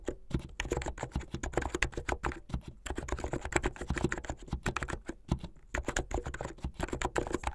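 Fast two-handed fingertip typing on a blue full-size mechanical keyboard with white, blue and yellow plastic keycaps and a backlight. The result is a dense, rapid stream of short, dry clacks with a deep thocky body and quick decay, broken by only brief pauses.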